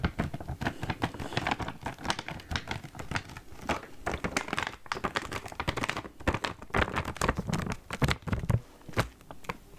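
A green printed plastic foil snack bag, full of snacks, is held up close in front of the microphone and handled and crinkled with fingertips and long nails. The result is a steady run of dense, crisp crinkles and short crackles with a full low body, each sound cutting off almost instantly.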